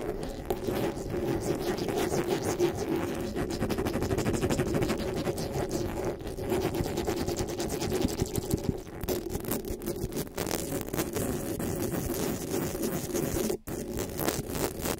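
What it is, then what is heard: Metal microphone mesh grille. Long pink nails scratch and tap quickly over the hollow metal mesh grille of a black microphone. The result is a dense, continuous rustling patter of scratches and taps with a warm low-mid hum, holding a steady level with a couple of brief dips near the end.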